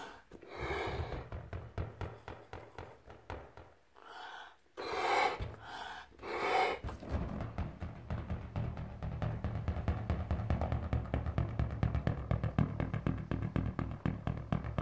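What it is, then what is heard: Inflated latex balloon. A large, hollow, air-filled yellow latex balloon is held in the hands and tapped and drummed with medium-length pink-painted fingernails and fingertips. Soft, low, booming thumps come in quick, uneven runs, briefly broken by a few breathy, airy bursts before the drumming grows steadier and denser.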